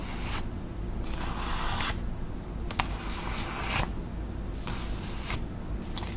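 Long acrylic nails tap and scratch the surface of a flat, thin white paper envelope held in both hands. Bursts of bright, papery scratching alternate with quieter pauses, with a few sharp tapping clicks mixed in. A steady low hum runs underneath throughout.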